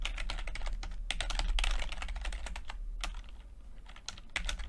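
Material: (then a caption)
Plastic. Fingertips of both hands type continuously on a full-size plastic computer keyboard with red and blue backlit, low-profile keycaps. Quick, uneven clicky taps sound at about four per second, each with a bright, crisp attack and short decay, over a steady low hum.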